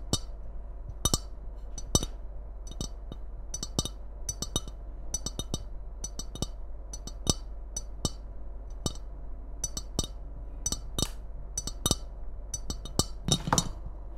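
Long nails tap the glazed side of a hollow white and red ceramic Christmas mug, held upright and later tilted. The quick, bright clinks have almost no ring and come at an uneven pace over a steady low hum. Near the end, a short scraping burst breaks in among the final taps.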